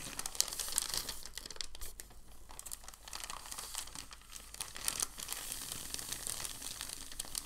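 A large, thin, white crumpled packing paper sheet is lifted and folded, then pressed and rubbed flat with palms and fingertips. The result is a steady, quiet stream of bright crinkling and crackling with sharp little snaps throughout, mostly high in tone with a faint low hum beneath.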